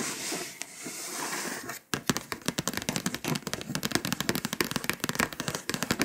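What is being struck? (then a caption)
Foil-coated paper scratch-off map scratched with fingernails. Long pointed acrylic nails work over the foil-coated surface of a flat paper scratch-off map poster. A steady, bright scratching hiss runs for about two seconds, breaks off briefly, then gives way to a rapid, crackly series of sharp taps and short scratches on the foil.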